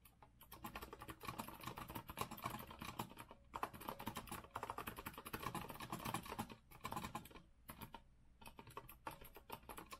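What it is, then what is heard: Mechanical keyboard being typed on. Fingertips of both hands type continuously on a compact retro Azio mechanical keyboard with a rose-gold metal frame and round plastic keycaps, resting on a wooden desk. Dense, crisp keystroke clacks centered around 1 kHz decay almost instantly, arriving in rapid bursts with brief pauses near 3.5, 6.6 and 8 seconds.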